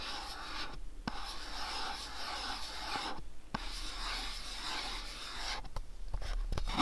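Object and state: Cardboard box.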